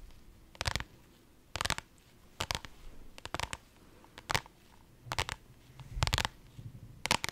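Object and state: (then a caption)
Vinyl zippered pouch scratched and tapped. A pink holographic, iridescent faux-leather zippered pouch, soft-sided and held in the hands, is scratched and tapped with long nails. Short, dry, bright scratchy bursts with a soft low thud come at irregular intervals, separated by quiet pauses, with no ring after each contact.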